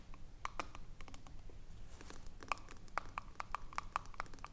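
Long nails tap and scratch the ridged aluminium screw lid of a small, filled glass jar. Quick, irregular metallic clicks with a short ringing tone near 1.2 kHz are broken by brief bright scraping bursts.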